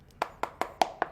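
Five knocks on the body of a counterfeit iPhone 11 Pro Max, each a short, dull tap centred in the mids that dies away almost immediately. The body sounds soft and hollow wherever it is struck, where a genuine iPhone should sound more solid, marking it as a knock-off.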